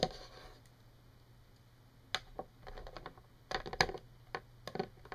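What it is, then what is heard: Plastic clothes hanger. Long painted fingernails tap a yellow hollow-rod plastic coat hanger lying on a table. After a brief soft scratchy rustle, light, sharp, clicky taps come in irregular bursts, each dying away almost at once over a faint steady low hum.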